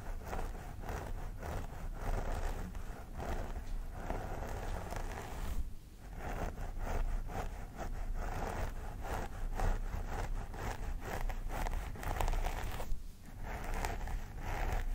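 Fingertips and nails of both hands scratch through and part long grey-blue synthetic hair near the scalp of a vinyl mannequin doll head. The result is a continuous, crispy, rustling scrape made of quick repeated strokes, with a steady low rumble underneath and short dips where the scratching pauses.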